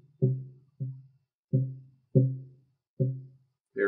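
A wooden guitar top held in a frame is tapped from behind for tap tuning so an electronic tuner can pick up the soundboard's fundamental. Six separate dull, low knocks each ring briefly around 130 Hz, and the last tap sounds brighter than the rest. The tuner first reads the top as C3.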